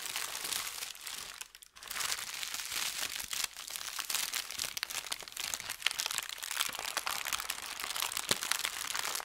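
A large crumpled sheet of thin white shoe box paper on a felt mat is scratched with fingernails, rubbed with fingertips and crinkled. The result is a steady, bright crackling and rustling with many quick crisp crunches and little low end. There is a brief quiet dip near the two-second mark.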